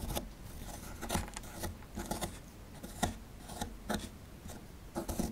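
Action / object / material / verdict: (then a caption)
scrape / plaster dig block scraped with a metal pick / plaster / none. A metal pick scrapes at the plaster inside the dug cavity of a solid plaster fossil dig block, near the exposed bones. Short, gritty scratching strokes with bright, rasping bursts repeat over a quiet, low background. Each scrape stops quickly with little ring.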